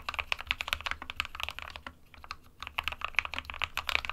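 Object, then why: Plastic mechanical keyboard. Both hands type rapidly with their fingertips on an SK61 small 60% mechanical keyboard with a white plastic case and plastic keycaps, resting on a printed desk mat. It makes a stream of short, bright, clacky key taps with little low end, pausing briefly in the middle before resuming.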